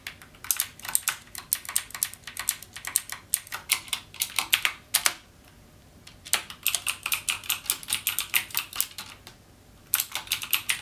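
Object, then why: Plastic mechanical keyboard. Fingertips type on a backlit mechanical keyboard with plastic keycaps and Cherry MX Blue switches, producing a rapid stream of sharp, bright clicks that decay almost instantly. The typing runs in quick bursts, pausing about a second after the five-second mark and briefly again near the end before resuming.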